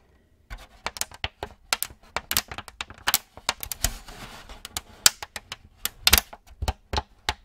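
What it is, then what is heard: Thin plastic cookie tray tapped and crinkled. A thin, empty, clear plastic cookie tray with many molded cavities is held in both hands in front of a microphone while fingertips and nails tap and squeeze it. The result is a rapid, irregular series of sharp, bright clicks and taps, with a brief stretch of denser crinkling in the middle. Each snap is dry and dies away almost instantly.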